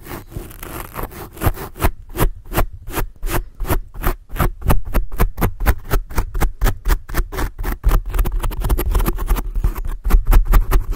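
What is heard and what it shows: Long blue acrylic nail tips scratch over a black foam microphone windscreen in a quick, steady series of about 35 short, separate strokes. Each stroke is a brief, dry, broadband scrape over a heavy low rumble and thump that dominates the sound. The scratching grows slightly denser and louder toward the end.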